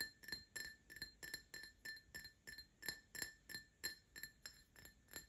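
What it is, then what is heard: Empty drinking glass tapped. An empty Paladone Mario Kart printed glass tumbler is tapped with short nails and fingertips in a quick, slightly uneven series of light clinks. Each tap gives a short glassy ring centered near 1.8 kHz with bright high overtones, fading almost immediately between taps.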